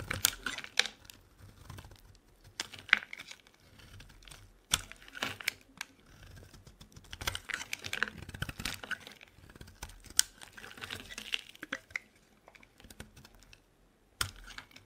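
A solid lilac bar of soap held in the hand is shaved and carved with a utility knife blade. Crisp, bright scraping and crackling cuts come in quick irregular bursts, with a few sharper snaps and short quiet gaps between strokes.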